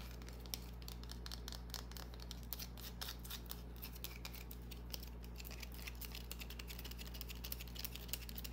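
Long nails scratch and tap a small solid green bar of soap held in the hand. Quiet, dry, bright scratching mixes with many quick, crisp taps over a steady low hum.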